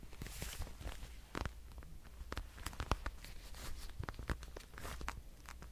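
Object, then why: Patent leather wallet. A dark red, glossy patent leather wallet is tapped and scratched with fingernails, producing a quick series of sharp clicks and dry scratchy rasps over a low steady hum. The taps are short with almost no ring, and bursts of bright, crinkly scratching come between them.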